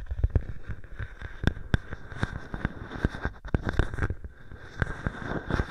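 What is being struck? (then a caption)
Plastic bubble wrap sheet. A clear plastic bubble wrap sheet draped over a microphone is handled and scratched by fingers with long painted nails. The result is a dense run of close, low-heavy crinkling and rustling, broken by many sharp, dry pops and clicks that stop instantly with no ring.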